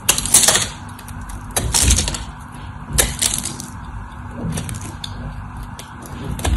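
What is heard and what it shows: A solid white bar of dry soap, held in the hand, has its corners and face shaved and carved with a utility knife. The result is a run of crisp, bright cutting and scraping strokes, with several louder bursts over a low background rumble.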